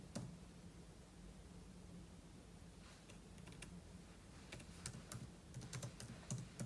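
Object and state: Laptop keyboard typing.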